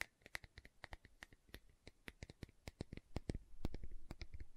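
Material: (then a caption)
Plastic. Long nails tap and scratch the side and lid of a large, round green plastic aloe vera gel jar. Quick, dry clicking taps with a bright tick come at an uneven, rapid pace, then thicken toward the end into a denser, louder run of scratching and tapping.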